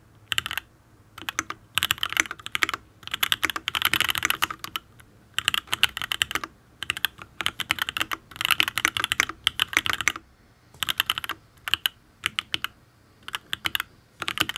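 Fingertips type on a Matrix ablex penpen full-size custom mechanical keyboard with an aluminium case, ABS keycaps and Tealios V2 linear switches. Bursts of rapid, short, bright clacking keystrokes come in runs separated by brief pauses, each stroke dying away almost instantly with very little low end.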